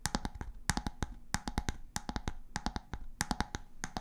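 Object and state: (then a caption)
Bamboo jar lid tapped with fingernails. Long grey-painted nails tap and scratch the round, light-wood bamboo lid of a glass storage jar held in one hand. Quick clusters of dry, clicky taps with a low hollow thump and bright edges come in rhythmic bursts, with a faint scratching rustle between them. Each tap dies away almost instantly.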